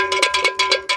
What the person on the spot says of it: I ring this Bell it's 100% plastic Bell but it rings like metal